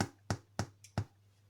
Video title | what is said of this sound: How I Made Sourdough Bread That Tastes AMAZING | Check it is cooked by turning it over and tapping. It should reverberate a hollow sound